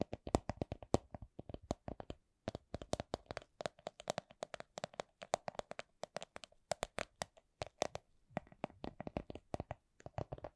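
A small, hollow, clear plastic coin purse with a bunny print is tapped with nails and fingertips. Dozens of short, dry clicks and taps follow at a steady, unhurried pace, with a hollow midrange tone and brief pauses between runs.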